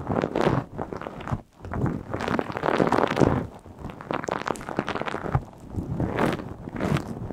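A small, round, purple knitted plastic mesh scouring pad, soft and hollow-centred, is held close in one hand and scratched and squeezed with long blue acrylic nails. Dense, crackling scratches and rustles arrive in quick, uneven bursts with brief pauses between them. The sound is mostly low and mid-range, with little high-end brightness.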